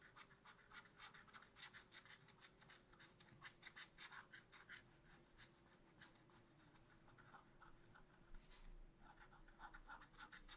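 A wooden stylus scratches the lower plant on a black-coated scratch art paper sheet in a spiral notebook. Quick, dry scratching strokes repeat in a steady rhythm, each a short bright rasp, with a brief pause near the end before the strokes resume. A faint low hum runs quietly underneath throughout.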